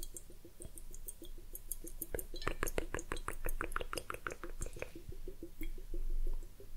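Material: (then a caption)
Glass. A large hollow glass hourglass, partly filled with clear liquid and bubbles, is held in both hands and tilted or turned over while fingertips and long nails touch the glass. Quick, short glassy clinks and light taps sound over a low bubbling, sloshing liquid, growing denser and brighter in the middle before easing back to soft gurgles.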